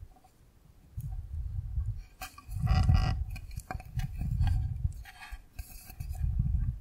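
A rectangular clear plastic container full of yellow gel water beads is tilted and rocked in the hand, so the beads roll and clatter against its walls. It makes soft, low rumbling swells that rise and fall in waves, dotted with faint bright clicks and ticks.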